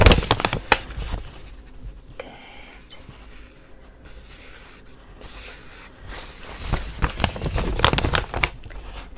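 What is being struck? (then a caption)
Paper shopping bag. Fingertips and short natural nails tap and scratch the flat paper side of a hollow, medium-size green printed paper shopping bag from The Body Shop ("Good Things Inside"), held upright on a table, with a magazine lying nearby untouched. Quick, irregular papery taps and crinkly scratches cluster loudly at the start and again toward the end, with softer rustling scratches in between. Each tap is dry and short with no ring.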